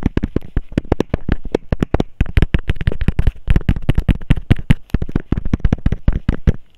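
A small, hollow, clear hexagonal plastic case with a label is held between the fingers and tapped rapidly with the nails. Some forty quick, separate taps each give a dull, low thump with a sharp bright click on top, dying away almost at once.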